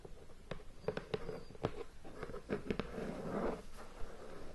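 Long painted nails tap and scratch across the lid of a hollow, medium-sized cardboard board game box still in plastic shrink wrap, resting on a bed. About eight short, dull, hollow taps stand out, with soft crinkly scratching of the wrap in between.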